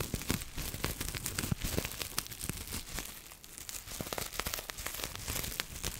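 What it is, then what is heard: Plastic bubble wrap. A piece of clear, air-filled plastic bubble wrap is scratched with long nails and crumpled by hand. The result is six seconds of dense, continuous crinkling and scratching, dotted with sharp, bright crackles and brief snaps that die away almost instantly.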